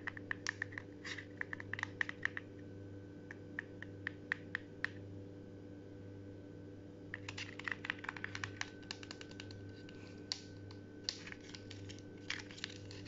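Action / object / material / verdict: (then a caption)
tap / paper drawing in a cardboard frame / paper, cardboard / none. A child's crayon drawing on paper, hung on a wall in a green-covered cardboard frame with small foam decorations, is tapped and scratched with fingertips and short nails across the paper surface. Quick, dry, papery taps and scrapes come in two clusters, one in the first five seconds and another after a brief lull, each ending instantly with no ring. A steady low hum runs underneath throughout.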